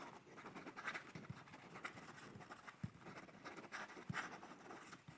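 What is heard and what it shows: A pencil scratches and strokes across a page of a paper sketchbook held up close to the microphone as someone sketches. Soft, dry, bright scratching rises and falls in short bursts, with occasional low, brief taps as the pencil presses on the paper.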